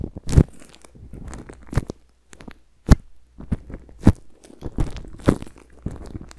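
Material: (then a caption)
Plastic film. A microphone tightly wrapped in thin, crinkly clear plastic cling film is scratched and rubbed by a black-gloved hand and bare fingertips. Close, bassy crinkling and crunching come in irregular bursts, with sharp, dry pops standing out over a steady low hum. Each sound stops at once with no ring.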